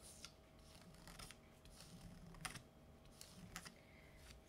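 Fingertips and nails tap along the right edge and across the surface of the glossy cover of a solid paper Buffy the Vampire Slayer graphic novel lying flat. The result is quiet, irregular, crisp clicks and soft taps with a bright edge, over a faint steady hum.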